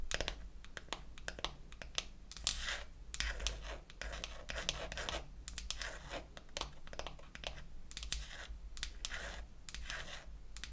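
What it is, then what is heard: Painted wooden toy makeup case. Long acrylic nails tap and scratch the back and lid of a small, closed, pink-painted wooden toy eyeshadow case. Quick, sharp clicks mix with bright, rasping scratches in an irregular run, all at a soft level. A steady low hum sits underneath throughout.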